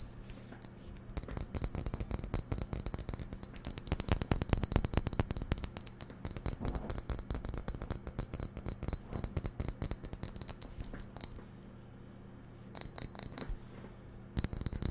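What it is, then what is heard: Ceramic vase tapped with fingernails. Fingernails tap a white ceramic vase held close to the mic, producing quick, irregular clinking taps with short, bright rings. The tapping runs dense for about eleven seconds, pauses briefly, then returns in short bursts.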